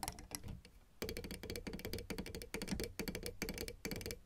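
Long red nails tap on the white and black keys of a plastic piano keyboard, close up. Fast, uneven clicking taps with a hollow plastic knock and bright edges, each dying away almost at once. A quieter patch comes near the start before the tapping picks up again.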